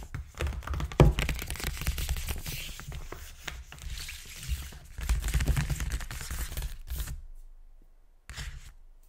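Fingertips and short nails scratch and tap quickly across a silver-grey, hexagon-pattern paper gift bag laid flat on a table, hollow and flattened. Dense papery crinkling and scraping sit over low, hollow thumps, with one sharper tap near the start. The sound eases off, pauses briefly, then returns in a short final burst.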